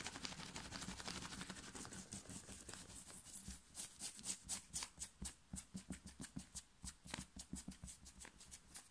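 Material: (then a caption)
Cotton. Long nails of both hands scratch fast across a plain black cotton knit t-shirt worn on the chest. A dense, continuous bright rasping fills the first few seconds, then breaks into distinct, sharp scratch strokes about twice per second, with a soft low rumble underneath.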